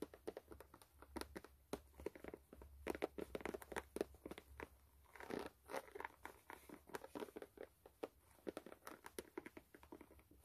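Long nails scratch and tap the brown rubber outsole of a white sneaker that is held up. The result is a quiet stream of quick, dry clicks and crinkly scratching bursts, each dying away almost instantly, over a faint steady low hum.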